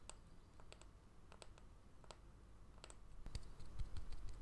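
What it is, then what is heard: Bamboo jar lid tapped with fingernails. A small, solid, round bamboo jar lid with a seal ring on its edge is held in the hand while fingernails tap and scratch its flat face. Quiet, dry, short clicks and light scratches come at an uneven pace over a low background rumble. The taps grow louder and heavier toward the end.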